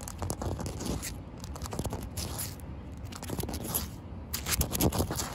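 Short white-painted fingernails scratch and tap across a large, solid outdoor concrete slab with damp patches. Dense, gritty scraping and crackly rasps mix with quick, dull taps, mostly low and thuddy, with bright gritty bursts. The texture swells in uneven waves and grows loudest near the end.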